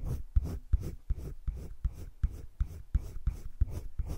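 A green wooden colored pencil shades the inner circle and the edges of a heart on a flat page of a spiral-bound paper sketchbook. Eleven quick scratching, rubbing strokes repeat at a fairly steady pace, each a soft, dull scrape with a low thud at its start.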